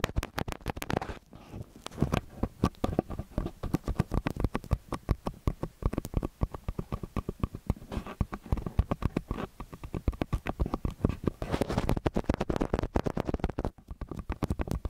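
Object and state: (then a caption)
Metal microphone capsules tapped and scratched. Fingertips and short nails tap and scratch the small metal capsules of a stereo microphone on a white stand. The result is a dense, continuous run of short, dry, low thumps and muffled scratches with almost no brightness or ring, steady from start to finish.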